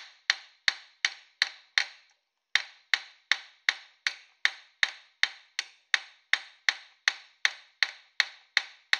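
A small, thin copper dish, held by hand on a steel stake clamped in a bench vise, is struck repeatedly with a metal hammer in planishing taps. The 23 sharp, bright metallic taps come at a steady pace with a brief pause after the fifth. Each tap centres around 1.8 kHz and dies away almost instantly with no low-end thump.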